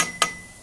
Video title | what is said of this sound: Roadside flint update | the problem is it doesn't ring it thuds and so there's a lot of flaws in it and it's somewhat banded